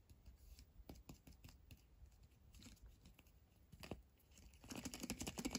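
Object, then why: Small hollow plastic capsule egg. A small hollow red plastic surprise egg capsule with a paper label is held in both hands and turned over while fingertips and short nails tap and scratch its surface. Quiet, dry, typing-like clicks and scratches come at an irregular pace and build into a denser, louder burst of scratching near the end.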